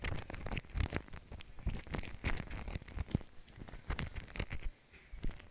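Fingertips press into and smear a spread-out pile of white shaving cream foam resting on plastic wrap. The result is a dense run of wet, crackling squelches and tearing, crinkly pops that overlap closely, with a short quieter lull near the end before the squishing resumes.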